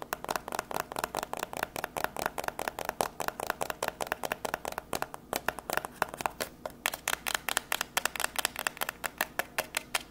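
A small, hollow white printed cardboard product box for a microphone is held up in one hand and tapped rapidly with long grey acrylic nails. About 56 fast, dry, clicky taps ring out, each a short hollow knock with a bright edge that dies away almost instantly. The tapping keeps a steady, quick rhythm with a brief lull around the middle.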